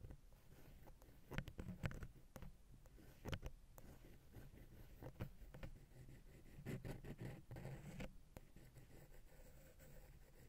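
An angled wooden ear pick scratches and taps the silver metal X/Y microphone capsule of a Zoom H6. The result is close, low, muffled thumps with almost no ring, scattered among soft, continuous scratching and rustling.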